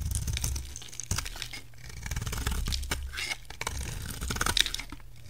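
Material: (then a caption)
Soap. A utility knife blade shaves a solid, hand-sized, rectangular white bar of soap held in one hand, peeling curls of soap onto a white table. Each stroke produces a crisp, crunchy scraping and tearing sound with bright, textured highs over a soft low rumble. The cuts come in short, uneven bursts that run together.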